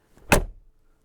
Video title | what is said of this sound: Mercedes Benz MB G500 (2019) - ENG SUB - TEST - GARAZ.TV - Rasťo Chvála | To je jednoducho charakteristický zvuk a má to ale jedno negatívum, že tieto dvere s takto oceľovým zámkom sa jednoducho musíte s tým trieskať